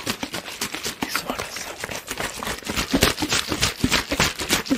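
A hollow, thin-walled clear PET water bottle with a teal label is squeezed, crinkled and tapped with fingertips while being waved close to the microphone. The result is a quick, uneven run of bright plastic crackles and crisp taps that die away almost at once.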